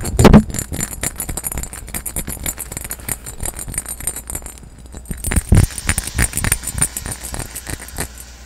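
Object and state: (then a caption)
Cut glass carafe. A clear, hollow, empty cut-glass carafe with a diamond pattern and a handle is tapped and scratched with fingertips and nails. A fast, dense run of light glassy taps and scrapes follows, with a hard knock near the start and another in the middle. Between them runs a bright, scratchy texture over a low rumble.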